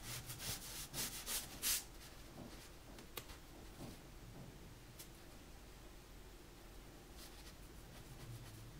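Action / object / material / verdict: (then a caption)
scrape / pencil lead on sketchbook paper / paper / none. A metal mechanical pencil held in the fingers scratches and draws lines across the white drawing paper of a large spiral-bound sketchbook lying flat on a dark table. Five brighter, raspy strokes come in the first two seconds, then the scratching fades to a soft, faint rustle with occasional light ticks for the rest of the clip.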